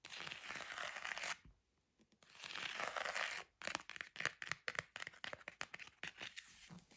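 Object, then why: Leather-covered book. Fingertips and nails scratch and tap the embossed dark leather cover of a large, thick antique leather-bound bible, first held upright showing the spine, then laid flat. Two stretches of dry, bright scratching are separated by a short pause, followed by a run of quick, irregular taps with no ring.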